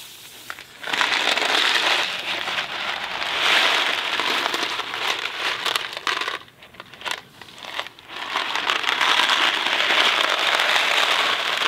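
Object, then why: Cardboard box filled with dry pasta. A thin cardboard Kraft macaroni & cheese box filled with dry pasta is tilted while fingertips rub and tap its surface. This makes a dense, bright, crinkly rattle of pasta shifting inside. The sound dips quieter and sparser for a moment before swelling back to a steady rustle.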